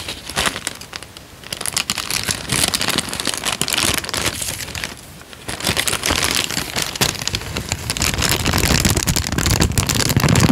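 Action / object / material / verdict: scrape / thin paper sheet / paper / none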